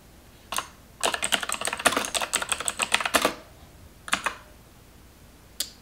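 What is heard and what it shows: Long nails type on the keys of a black plastic computer keyboard, heard up close. A lone click is followed by a quick run of bright, crisp, clattering keystrokes lasting about two seconds, then a few scattered taps with quiet gaps between them.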